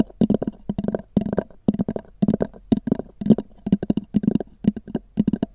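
Long nails tap and scratch on a small, black, oval, hollow hard-shell EVA zip case with a textured cover. Quick bursts of short, dry, hollow knocks with a low-mid body are separated by brief pauses. Faint scratchy texture sits over the taps, and each tap dies away almost at once.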